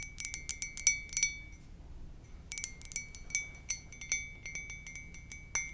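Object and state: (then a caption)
Ceramic mug. Long nails tap the glazed side of a hollow white ceramic mug with a lips print, making quick, irregular clinks. Each tap gives a bright, glassy ping with a steady ring near 2.3 kHz and higher overtones that fades fast. Taps come in clusters separated by brief quiet gaps.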